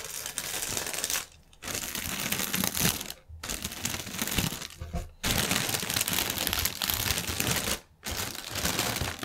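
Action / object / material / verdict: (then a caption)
scrape / polyethylene air pillow packaging / plastic film / none. Fingernails scratch and press a strip of inflated, hollow, air-filled clear polyethylene air pillow packaging lying on a table. The film crinkles in dense, bright, continuous bursts. Brief quiet pauses break up the sound four times.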